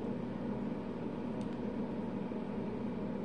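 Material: Nothing is struck.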